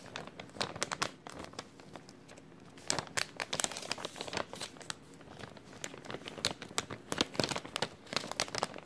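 An empty, thin clear plastic bag with a white label is crumpled with the fingers of both hands. Dense, bright crinkling and crackling sounds come in rapid, sharp bursts, with little low end. There is a quieter stretch around the second and third seconds before the crinkling picks up again.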